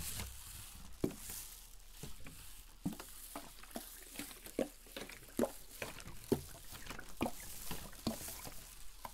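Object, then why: Plastic PET bottle with water and glitter. A clear, capped 500 ml PET plastic drink bottle, mostly filled with pink-tinted water, glitter and sequins, is held in both hands and shaken and tilted back and forth. The liquid sloshes in soft, irregular surges with short, dull low-mid thuds over a faint steady hiss. Each splash dies away almost at once.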